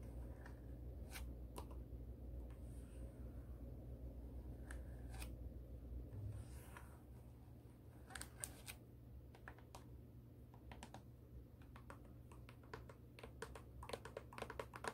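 Long acrylic nails scratch and tap the thin heel and suede side of an empty black high-heel pump with a tan insole. Soft, dry scratching runs over a steady low hum. Sharp, bright clicking taps come more often toward the end.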